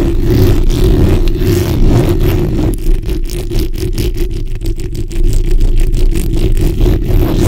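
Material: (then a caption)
Metal mesh. The backs of long nails scratch a black, hollow metal mesh microphone head from both sides. A steady, heavy low rumble runs throughout, and after about three seconds quick, rhythmic scraping strokes break through in rapid succession until the end.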